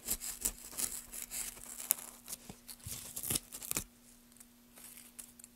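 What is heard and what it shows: Gloved hands drive a gouge through a solid pale wood block, lifting long shavings in quick, irregular scraping strokes with a bright, crisp, tearing texture. A steady low hum runs underneath throughout. The carving stops just before four seconds, leaving fainter, scattered scrapes.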